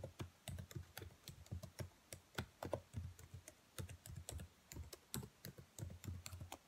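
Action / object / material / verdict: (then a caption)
tap / plastic laptop keyboard keys / plastic / none. Long white nails tap on the black plastic keys of a laptop keyboard, making about thirty quick, separate taps. Each tap is a short, dry knock with a low thump and a bright click on top, dying away almost at once.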